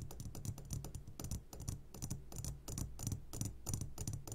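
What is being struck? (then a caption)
Glass jar filled with gummy candies. A medium glass jar, turned upside down and full of sugared gummy candies, is tapped quickly on its sides with the short fingertips of both hands. The taps come in an uneven, rapid patter of dull low thuds topped with bright clicks. Each tap dies away almost at once.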